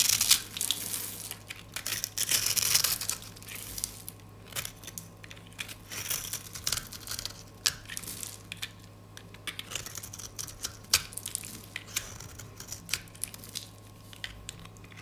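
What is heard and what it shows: A metal utility blade scrapes and slices through the scored surface of a rectangular, solid, white-cream dry soap bar held in the hand, shaving off flakes and a thin slice. The sound is a bright, dry crunching and crackling, with a dense burst of scraping at the start followed by many short, sharp crisp snaps over a faint steady low hum.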